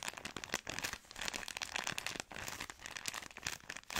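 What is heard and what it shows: A long, soft product pack wrapped in thin plastic film is scratched and squeezed with long nails. The result is a dense, bright crinkling with quick crackly bursts and brief pauses throughout.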